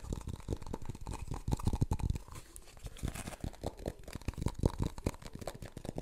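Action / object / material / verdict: tap / plastic funnel / plastic / none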